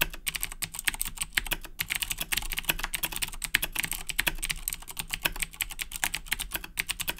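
Fingertips type continuously on the plastic keys of a black Razer BlackWidow 2010 Edition mechanical keyboard with Cherry MX Blue switches, resting on a wooden desk. The result is a dense, steady stream of sharp, bright clicks that stop dead with almost no ring, over a faint low rumble.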